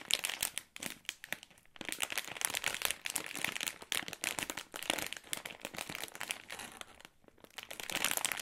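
A glossy plastic-film Ritter Sport Jamaica Rum bag filled with wrapped chocolates is squeezed and scratched with fingertips and nails. It makes dense, bright crinkling with quick crackly bursts. There are brief quiet gaps between bursts, and almost no low end.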